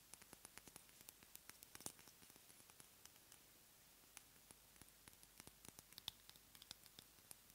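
Long manicured nails tap and scratch a small, dark glass dropper bottle with a label and a black dropper cap, apparently filled with liquid, held above a box of shredded paper. About thirty quiet, bright, dry clicks with almost no ring come in quick, irregular bursts over a soft hiss, with a brief lull near the middle.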